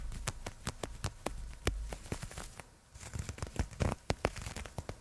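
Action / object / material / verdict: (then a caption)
scrape / nylon fishnet arm sleeve / nylon mesh / none. Long nails scratch along a black nylon fishnet sleeve, a thin open mesh worn on a raised forearm and held away from the microphone. It makes a quiet, dry run of quick scratchy crackles and ticks over a soft low rumble. There is a short near-silent gap partway through before the scratching picks up again.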